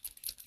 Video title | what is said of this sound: Sept 14 2018 Fall Card | you can hear the little BB in there